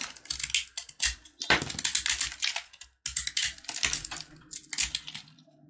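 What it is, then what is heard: Sugar-coated peanut candy bar. A box-cutter blade scrapes the crunchy coating of a solid red and white sugar-coated peanut brittle block held in the hand. Quick, crisp scratching and crackling strokes sound bright and dry, with a brief pause midway before the scraping resumes and fades.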